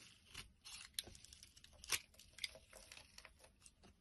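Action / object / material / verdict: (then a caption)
scrape / bar soap shaved with a blade / soap / none. A blade shaves curled flakes off a solid light-green bar of soap held in the hand. Quiet, bright, crisp scraping and crackling strokes come in quick bursts, with a few sharper clicks standing out.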